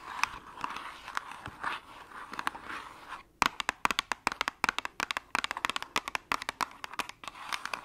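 Long acrylic nails scratch and tap the sides and edges of a small, hollow, white cardboard medicine box held upright. Soft, papery scratching gives way after a brief pause to a quick run of dozens of crisp, dry taps. The clicks are bright and thin, with almost no low end, and each one stops instantly without ringing.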